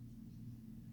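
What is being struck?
Nothing is struck.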